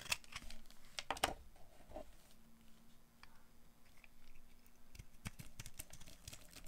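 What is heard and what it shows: A metal blade with a green handle shaves and carves a solid, dry, light green soap bar into chunks. Short, crisp scraping and crunching strokes come in irregular bursts, with bright, snappy edges over a faint low steady hum.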